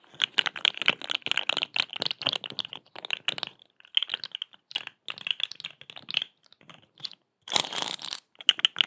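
A hollow, rainbow-striped corrugated plastic pop tube, held in both hands, is stretched, bent and scratched with long acrylic nails. It makes rapid, dry, bright clicking and crackling in quick clusters separated by short pauses. A denser, hissier burst comes near the end.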